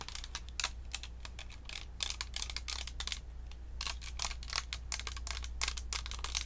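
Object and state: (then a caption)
Plastic and metal-grille USB microphone tapped with nails. A round, hollow white plastic Blue Snowball USB microphone with a metal mesh grille is held in both hands and tapped on its body and grille with long acrylic nails. The result is a rapid, irregular stream of short, bright clicky taps that die away almost instantly, over a steady low hum.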